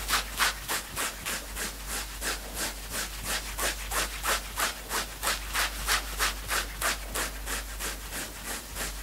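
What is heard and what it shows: Fingertips scratch fast and hard across a worn knit sweatshirt, first on the upper chest fabric and then on the sleeve. The strokes come in a steady, rapid rhythm of about three per second, each a bright, hissing rasp over a faint constant low hum.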